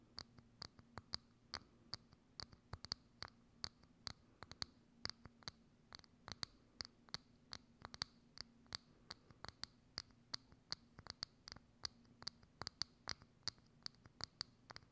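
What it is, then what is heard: Clear plastic dome lid scratched with nails. Long acrylic nails scratch and tap a hollow, thin, transparent plastic dome lid held over a microphone. About 48 quick, bright clicks and scrapes land in an uneven rhythm, each dying out almost instantly, over a faint low hum.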